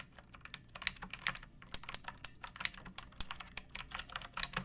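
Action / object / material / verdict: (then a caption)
tap / plastic mechanical keyboard / plastic / none. Long painted nails and fingertips type steadily on a pink plastic mechanical keyboard with round backlit keycaps and a hollow body, resting on a wooden surface. About two dozen quiet, sharp, bright clicks and clacks sound at an uneven pace, each dying away almost instantly, with little low-end thump.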